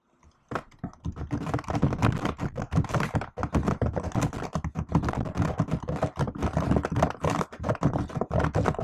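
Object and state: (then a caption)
Laptop keyboard with plastic keys. Long nails and fingertips type on a silver laptop keyboard with black plastic keys in an aluminium body. After a brief quiet start, a rapid, continuous run of short, dry clicks and soft thunks follows, mostly low-weighted with a few bright nail taps.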